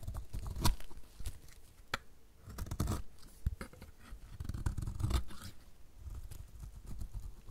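A metal utility blade cuts strips off the edge of a solid dry yellow bar soap in repeated strokes. Each stroke gives a dry, crisp scraping crackle with sharp bright clicks over a mostly low, muffled body, separated by short quiet gaps.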